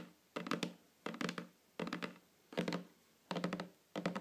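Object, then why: Wooden tabletop tapped with fingernails. Long fingernails tap on a flat, solid wooden tabletop close up, in six quick bursts of several taps each, separated by short pauses. Each tap is a dry, hollow knock with a low body and a brief bright click, dying away almost at once.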